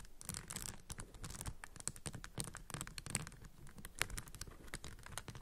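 Long acrylic nails tap and scratch the raised yellow and green round tiles on a plastic puzzle cube with raised textured stickers. The result is a quick run of dry, bright clicks and scratchy rasps over a soft low rumble. One sharper click stands out near the four-second mark.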